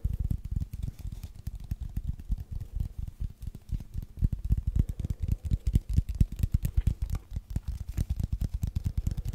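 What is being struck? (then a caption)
Cardboard tube. A long, hollow brown cardboard tube held horizontally is tapped and scratched with fingertips and nails. It makes rapid, irregular, deep hollow thumps with faint scratchy texture between them, a dense, uneven patter of dull low knocks.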